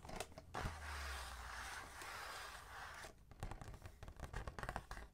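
A large, flat, hollow printed cardboard advent calendar box with Minnie Mouse on the front is held upright in both hands and turned around to its back. Fingertips and nails tap and scratch across the flat cardboard. A few light taps open into a long, steady scratchy rub with a low hollow rumble, then a run of quick, crisp taps and scratches follows.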